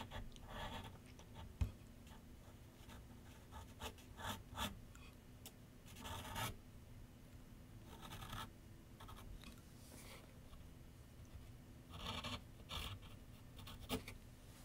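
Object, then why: Graphite pencil on paper over a board. A graphite pencil tip, held in the fingertips, scratches sketch lines across a large white paper sheet mounted flat on a board on a wooden easel with solid backing. Quiet bursts of dry, bright scratching strokes come and go over a steady low hum, with one sharp tap early on.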